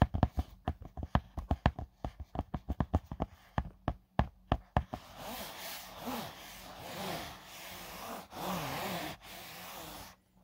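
About 25 sharp, separate taps sound on a small, hollow, closed black drone carry case, a hard EVA shell covered in fine-weave fabric. Flat fingertips then rub across the lid surface, making a steady, soft scratchy brushing through the rest of the clip.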